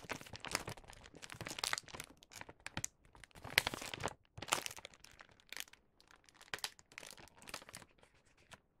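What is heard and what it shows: A filled, star-print paper gift bag has its top folded closed and creased by fingertips. Dense, bright crinkling and crunching paper sounds come in irregular bursts, with short quiet gaps between them.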